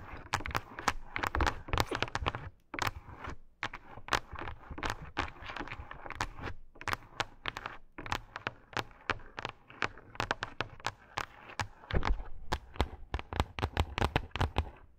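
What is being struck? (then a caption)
Faux fur pad. Long acrylic nails rapidly scratch a pink faux fur pad, making a dense run of short, dry scratchy bursts with a soft low thump beneath and bright crackly edges. The strokes come quickly and unevenly, with brief pauses near the 3-second mark and around 6.5 seconds before the fast scratching resumes.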